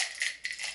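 A see-through baby roller toy with three small loose beads inside a clear center is shaken. Two bright, high-pitched plastic rattling bursts are heard, as the beads clatter inside.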